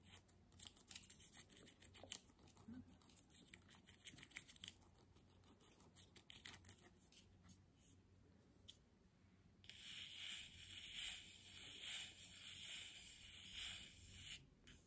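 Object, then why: Glass jar with bamboo lid. A full glass body butter jar with a bamboo lid is held in both hands and scratched with long fingernails. For about the first nine seconds, quick, crisp, bright scratches tick irregularly. Then a steadier, denser high-pitched scraping swells in a loose rhythm to the end, all at a quiet level.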